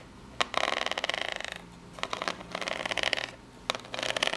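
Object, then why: Corrugated cardboard box. Long pink nails tap and scratch the ridged front face of a small corrugated cardboard box. Three sharp taps each lead into a burst of rapid, bright, rattling scratches as the nails ride over the ridges. The sound is dry and crisp, with quiet gaps between the bursts.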